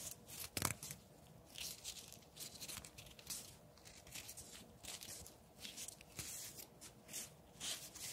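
A long, thin, solid wooden branch with bark is held in one hand while the other hand grips and rubs along it, scraping and peeling the bark away. Quiet, dry, bright scraping and tearing bursts come in an irregular series of short strokes, with a faint low rumble underneath.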